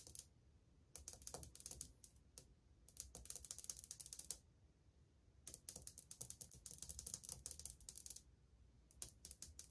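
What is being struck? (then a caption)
Glazed ceramic wall tile. Long painted fingernails tap quickly on old glazed ceramic subway tiles on a wall, flat and solid. Several bursts of rapid, dry, bright clicking taps come and go, each tap dying away almost instantly, with brief pauses and a faint low rumble between them.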